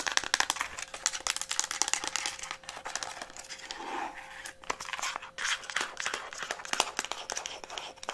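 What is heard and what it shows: Long nails tap and scratch rapidly over a hollow pink Instax Mini plastic instant camera, including around the lens. The sound is a dense stream of quick, bright clicks and crinkly scratches with almost no low end, over a faint steady hum.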